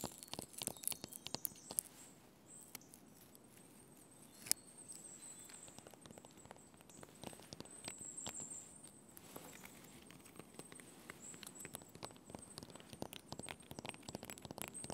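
Fingertips and nails scratch and tap the bark of a solid birch log and its peeling edge, making quiet, dry, rapid clicks and brushing scrapes. A faint, steady high-pitched tone runs underneath throughout.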